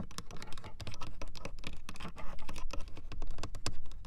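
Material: Hard plastic.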